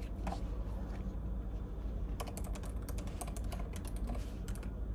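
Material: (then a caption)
Plastic. Fingertips type on the plastic keys of a silver laptop resting on a table with papers and highlighters. Sharp, bright key clicks come in loose, uneven bursts over a steady low hum.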